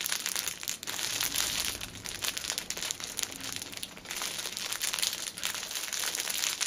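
Long painted nails squeeze and tap the thin clear plastic film wrapped around an upright six-pack of paper pocket tissues. The result is a dense, continuous, bright crinkling and crackling, made of many quick, dry snaps with almost no low end.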